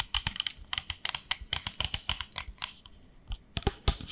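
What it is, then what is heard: Plastic spray bottle tapped with nails. A small pink hollow plastic spray bottle with a white cap, held in one hand, is tapped with long nails in quick, irregular clicks. The clicks are bright and short, with little ring-out, and a few louder knocks come near the end.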